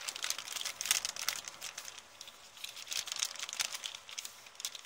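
An empty, thin, wrinkled brown kraft paper bag is rubbed, crinkled and scratched with long painted nails. The result is a dense, steady stream of bright, dry crinkles and crackly scratches with no low end, rising into sharper crunchy bursts between softer rustling stretches.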